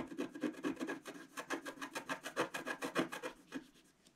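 A wooden stylus rapidly scratches and scrapes the black coating off a flat, solid scratch art card of coloured foil paper, about A4 in size, lying on a table. About two dozen quick, rasping strokes follow in an uneven rhythm, each a short dry scrape with bright, papery hiss and little low end. The strokes fade out toward the end.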